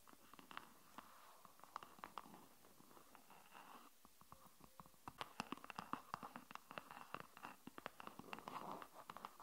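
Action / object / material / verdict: tap / silicone phone case on a phone / silicone / none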